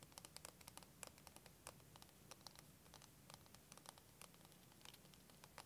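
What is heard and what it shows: Fingernails tap and scratch a clear, curved plastic wavy liquid timer filled with green liquid, held horizontally. The result is a quiet, rapid patter of short, dry clicks and scratchy ticks, bright and crisp with almost no ring, over a faint low hum.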